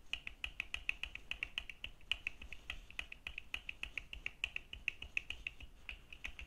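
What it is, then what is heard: Plastic sunglasses lenses. Fingertips and nails of both hands rapidly tap the dark plastic lenses and frame of red-framed plastic sunglasses worn on the face. The result is a quiet, irregular stream of sharp, dry clicks with a bright tone around 3 kHz, each dying away almost instantly.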